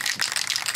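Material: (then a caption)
Metal. A metal can of olive green spray paint is shaken, making a quick, bright rattle of the mixing ball knocking inside. The rattle repeats in rapid, high-pitched clicks with almost no low end. It is shaken because the paint settles, so the can needs shaking every once in a while during spraying.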